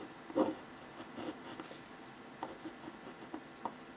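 A hand draws and scratches short strokes with the tip of a clear plastic ballpoint pen on a thin white paper sheet lying flat on a hard surface, over a pencil face sketch. Soft, dry scratching strokes come and go over quiet background, with one louder scrape near the start and brief bright hiss in between.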